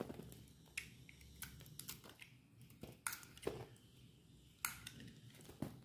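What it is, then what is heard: Dry bar soap being cut. A solid white bar of dry soap with an orange coat, held in hand, is cut into chunks with a metal utility knife blade. Quiet, dry scraping is broken by sharp, bright crunching snaps as the blade bites through, with several stronger cracks near the middle and end.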